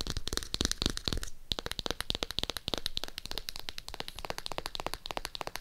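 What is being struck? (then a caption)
Hardcover notebook cover and edge. A navy hardcover notebook, held upright, is tapped on its cover and edge with long acrylic nails. The result is a fast, continuous run of sharp, dry clicks with bright high ticks over low hollow thumps, with a brief pause just after the first second. Each tap dies away almost instantly.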